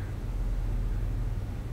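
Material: Nothing is struck.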